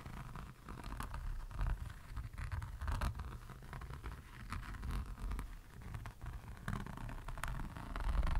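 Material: Resin.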